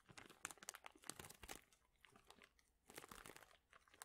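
A large clear plastic bag full of thin, flat wooden chips or veneer shapes is squeezed and crinkled with the fingertips and both hands. It makes quiet, bright, dense crinkling and crackling with quick dry ticks that stop instantly. The activity comes in two busy stretches separated by a softer lull near the middle.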